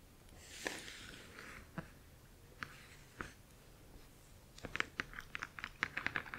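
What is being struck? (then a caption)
Glossy printed cardboard box. Long acrylic nails tap and scratch the glossy front face of a large printed cardboard Spirograph box. A soft, hissy scratch opens, then a few sharp, bright taps ring out spaced apart. A quicker run of crisp clicks closes, with a clear tone around 1.7 kHz and almost no ring.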